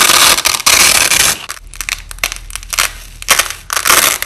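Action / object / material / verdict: scrape / nylon hook-and-loop tape / nylon / none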